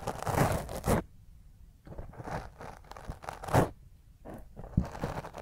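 Long fingernails scratch quickly across a black foam microphone windscreen. Heard are close, rough rasping and crinkling bursts with a deep, boomy low end, separated by brief quieter gaps of softer rubbing.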